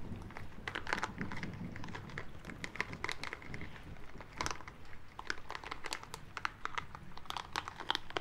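A small green rubber spiky ball is rubbed between the palms and fingertips, producing a steady stream of soft crinkling, squeaky rubbing and dense, quick textured clicks. The rubbing has a low rumbling body and bright, short crackles that die away instantly.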